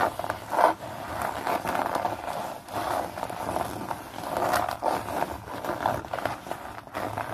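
Fingernails scratch and scrunch a blue hex-pattern nylon bag, producing a continuous dry, scratchy rustle centered in the midrange. The crinkling swells and fades in uneven waves, with a brief sharper scrape near the start.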